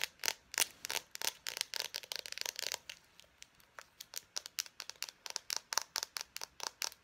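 An Expo dry-erase marker, a small hollow plastic barrel with its cap on, is held in both hands and tapped and scratched rapidly with long painted nails. About 31 quick, dry, bright clicks and scratches follow one another with almost no ring and no low end, carrying a faint hollow tone near 930 Hz.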